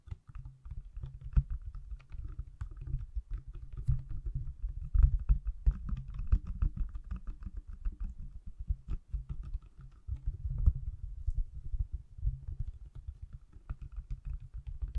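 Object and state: Smartphone in silicone case.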